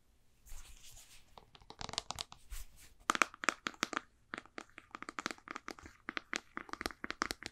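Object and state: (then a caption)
Plastic jar tapped and scratched. A white plastic supplement jar with a blue label and a ridged white screw lid is held in both hands and tapped and scratched with long painted nails on its body and lid. A soft, scratchy rustle opens the clip, then gives way to fast, sharp plastic clicks with a bright edge. Each tap stops dead with no ring.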